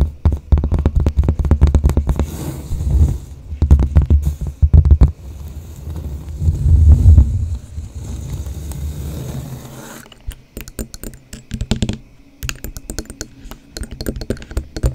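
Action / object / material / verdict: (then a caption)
tap / cork board with wooden frame / cork / none. A large cork bulletin board in a wooden frame, held upright, is tapped and scratched with long blue nails and fingertips. The result is rapid, dull, low thumping with a muffled scratchy rumble. After about ten seconds it gives way to quieter, sparser, crisper clicking taps.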